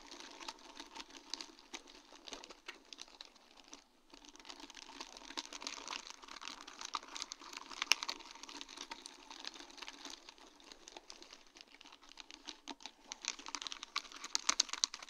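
A sheet of large round faceted acrylic rhinestones on a plastic mesh backing is tapped and scratched with long dark-painted nails. The result is a steady stream of quick, bright, dry clicks and scratchy rustles with almost no low end. There is a brief lull near the four-second mark, and a few sharper taps stand out toward the end.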